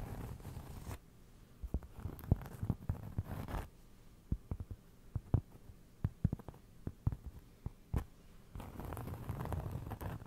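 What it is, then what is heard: Cork trivet. A round cork trivet held beside the mic is scratched and tapped with fingertips. Bursts of dull, soft scratching open and close the clip, and a run of short, muffled taps fills the middle, with most of the energy low and very little brightness.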